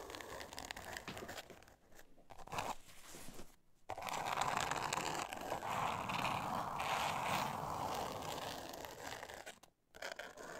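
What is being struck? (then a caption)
Thin board covered in glitter paper. Long nails scratch and tap a flat, thin, solid pink board covered in glitter paper. A dense, gritty rasping fills the clip, with brief pauses near 2, 3.7 and 9.8 seconds. It peaks in a steady stretch of rough scratching from about 4 to 9 seconds.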